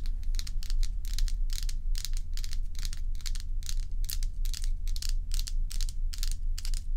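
Long acrylic nails on both hands scratch and tap a large, solid, bowl-shaped block of ice with a frosty surface. Crisp, bright scratching and clicking bursts come in a quick, somewhat irregular rhythm. A steady low rumble runs underneath throughout.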